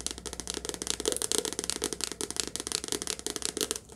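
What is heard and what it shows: A softcover paperback book, held sideways and upright, has its glossy card cover tapped rapidly with long nails. The result is a steady stream of quick, dry, bright clicks with a low tapping body, each dying out almost instantly.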